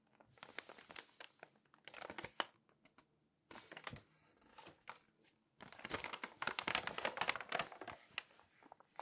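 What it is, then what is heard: Glossy paper magazine pages. Long nails scratch and rub the glossy pages of an open Magnolia Journal magazine and turn them. The result is bright, crinkly rustling and crisp tapping in busy bursts, with brief quiet gaps between page handling.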